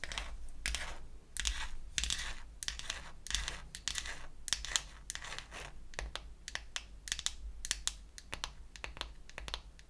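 Long acrylic nails tap and scratch the lid of a small, closed, pink-painted wooden toy eyeshadow palette. The result is a run of dry, sharp, bright clicks mixed with bursts of raspy scratching, each dying out almost instantly. A steady low hum runs underneath.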